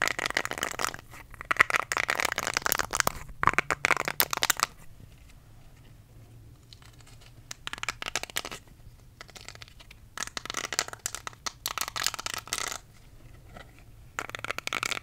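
A small, round, solid pink silicone facial cleansing brush is held in both hands while fingertips scratch and rub its nubs. Bright, dry, scratchy rustling comes in bursts, with quiet pauses between them.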